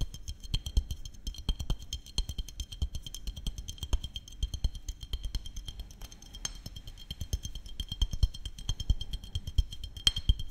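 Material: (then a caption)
Glass. Fingertips and nails tap rapidly and continuously on a small glass maple syrup bottle with a red cap, held in both hands close to the microphone. Each quick tap gives a soft low thump with a short, bright glassy ring that dies away almost at once, and the taps run as a dense, uneven patter throughout.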